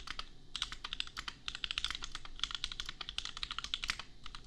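A $250 custom compact mechanical keyboard with Gateron Milky Yellow switches and red and pink plastic keycaps is typed on rapidly with the fingertips of both hands. A steady run of bright, crisp plastic clacks centers around 3.4 kHz, and each keystroke dies away almost instantly over a faint low background.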